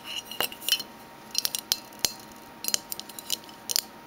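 Fingernails tap on a metal Minteas mint tin, giving a quick, irregular series of light, bright metallic clicks in short clusters. Each tap dies away almost at once, leaving only a faint hiss between them.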